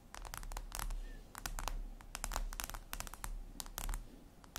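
Long red nails tap and scratch on a flat, glossy, black reflective glass surface, likely a tablet screen. Quick, sharp clicking taps and short scratchy strokes come in irregular bursts, with bright crisp tops over a steady low hum.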